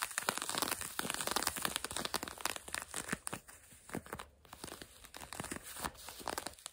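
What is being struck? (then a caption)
Denim jeans fabric. Long nails quickly scratch grey-blue denim jeans stretched over a knee. The result is a rapid run of dry, bright, rasping strokes with a papery crinkle and almost no low end. Each stroke stops short, giving a busy, close-up scratching texture.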